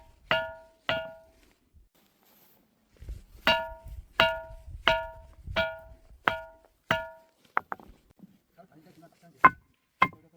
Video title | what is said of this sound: 천하명당 밀양 만어사, 바위에서 종소리 나는 신비한 사찰, #소원돌, #전설의 돌의자, | 바위를 두드리면 맑은 종소리가 나서